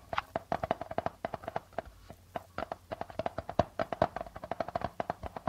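Fingertips and nails of both hands tap and scratch the plastic membrane of a hollow darbuka drum. The result is a quick, uneven run of short, dry taps with a clear mid tone around 680 Hz and almost no ring, with faint scratching between the hits.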